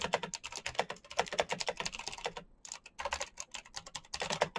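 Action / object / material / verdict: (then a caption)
tap / plastic mechanical keyboard / plastic / none. Both hands type fast with their fingertips on the clicky keys of a black plastic mechanical keyboard with RGB backlight. The result is a rapid, uneven stream of sharp, bright clicks that stop almost instantly, with little low end. The typing pauses briefly around the middle before the bursts resume.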